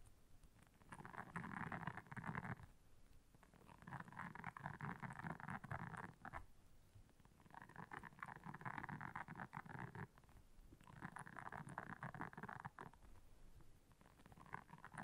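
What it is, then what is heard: Silicone scrubber pad. Long nails scratch across the soft bristles of a round, flat, solid blue silicone scrubber pad lying on black fur. The scratching comes in long, dense, rasping bursts of about two seconds, separated by brief pauses. Each burst has a soft, papery texture centered in the mids with a low rumbling undertone.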